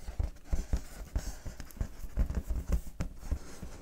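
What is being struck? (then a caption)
Inflated latex balloon. Long painted fingernails scratch and rub the surface of a large, inflated clear latex balloon held in both hands; the balloon is hollow and air-filled. The sound is a quick, uneven series of soft, dull, low thuds and taps, with faint scratchy patter above them. Each tap dies away almost at once.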